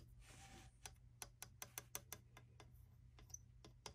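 Fingertips and long nails scratch, then tap about 14 times across the glass front of a small black-framed print standing on a desk. A brief scratchy rasp comes first, followed by sharp, bright clicks with a glassy high ring, over a steady low hum.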